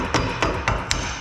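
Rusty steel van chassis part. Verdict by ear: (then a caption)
Solid. Four taps on a rusty steel chassis part of a van near the wheel arch give short, solid knocks with a low body and a brief ring. The part does not sound hollow and is in good condition, needing only surface rust treatment.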